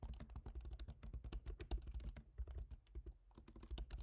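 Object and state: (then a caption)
Laptop keyboard, plastic keys. Both hands type rapidly with their fingertips on a MacBook Pro keyboard, with black plastic keycaps set in a silver aluminum body. A fast, uneven stream of short, dull key taps, each dying away almost at once, carries a soft low thud under faint brighter clicks.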